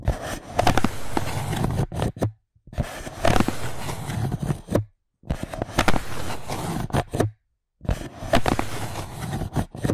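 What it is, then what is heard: Styrofoam plate. A white styrofoam plate resting on top of a microphone is rubbed and scratched with fingertips and long nails. The result is four bursts of rough, crackling, squeaky scraping with a heavy low rumble, separated by short silences.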